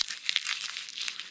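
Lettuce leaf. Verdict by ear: Crisp.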